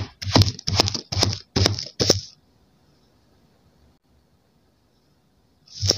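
A steel kitchen knife chops crosswise through a row of solid green kinetic sand slabs, crumbling them into pieces. Five quick, crisp cuts give gritty, crunchy scrapes with a low thud and a bright hiss. After nearly quiet seconds, a sixth cut begins at the end.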